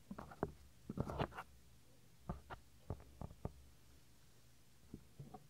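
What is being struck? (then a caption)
Soft silicone microphone ear. Fingertips rub the small, solid, white soft silicone ear of a 3Dio binaural microphone. The result is a series of short, muffled, low-heavy rubbing and brushing bursts with quiet gaps between them. The bursts come in clusters near the start, in the middle, and at the end.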